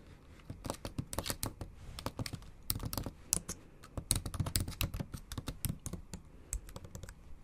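Long acrylic nail tips and fingertips tap the backlit black plastic keys of a MacBook Pro in a silver aluminium body in a steady typing motion. The result is a rapid, uneven stream of short, sharp clicks with a bright edge and a soft low thud beneath each press, with each click dying away almost instantly.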